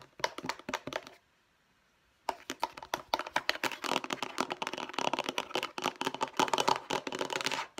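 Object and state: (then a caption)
Plastic storage box tapped with nails. Long nails tap and scratch the lid of a hollow, light blue plastic storage box in fast, sharp, clicky bursts. The tapping stops for about a second of near-silence, then resumes as a denser, continuous run of quick taps mixed with scratching.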